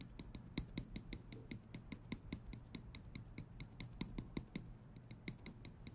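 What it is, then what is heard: Metal tweezers clicking. Small steel tweezers have their tips clicked and flicked with fingers, giving about 28 quick, quiet metallic ticks in a fairly steady rhythm. Each click is sharp and bright, with a faint low tap beneath it, and dies away almost instantly with no ringing.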